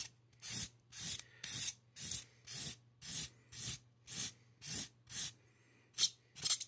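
A gloved hand draws short scratching strokes with a black marker across the crown of a solid white styrofoam mannequin head. Twelve bright, raspy scrapes come in a loose, steady rhythm, with a faint low hum underneath and a pause before the last two quicker strokes.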